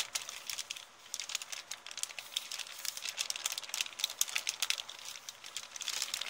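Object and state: Paper bag being crinkled.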